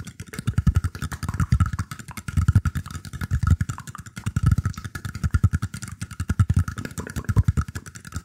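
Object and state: Woven bamboo tray being scratched.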